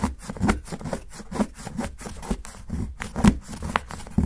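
A steel kitchen knife shaves thin curls off the edge of a solid dark chocolate bar, which is held flat by fingertips on a dark board, and the shavings pile up. The result is a run of short, dry, irregular scraping strokes with a mostly low, soft texture.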